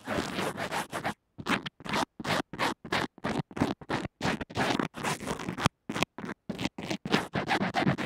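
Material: Fabric bandage.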